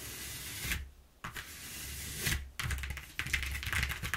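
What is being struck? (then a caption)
Corrugated cardboard sheet. Long nails and fingertips tap and scratch quickly over the exposed flutes of a flat brown corrugated cardboard sheet lying on a wooden table. The result is bursts of dry, bright scratching and ticking over a steady low rumble, with a brief quiet dip around the one-second mark before the scratching picks up again, denser toward the end.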